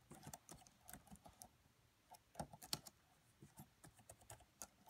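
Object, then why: Plastic laptop keyboard. Both hands type with fingertips and long French-manicured nails on the black plastic chiclet keys of a red laptop with a hollow body. Quiet, irregular, dry clicks and taps with bright, high edges and very short decay follow one another at a brisk, uneven pace.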